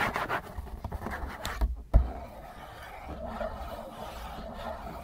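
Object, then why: Cardboard tissue box. A hollow printed-cardboard Kleenex tissue box is scratched quickly with fingernails and fingertips, giving dry, rasping scrapes over a dull, low hollow rumble. A sharp thump lands near the two-second mark, and then the scratching continues more softly and evenly to the end.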